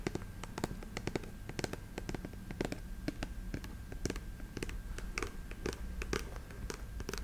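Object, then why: Patent leather boot. Long nails tap rapidly on the glossy toe cap of a black patent leather boot with a brown sole, held horizontally. The result is a fast, irregular run of short, dry clicks with bright edges over a low, steady background rumble.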